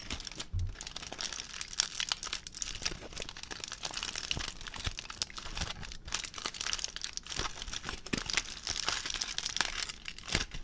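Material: Aluminium foil.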